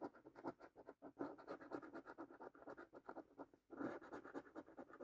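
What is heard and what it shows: A coin scratches across rows of latex-coated panels on a thin cardboard paper scratch card, making quick, dry rasping strokes in a mid-range tone. The scraping comes in steady bursts, with short pauses before it resumes more firmly.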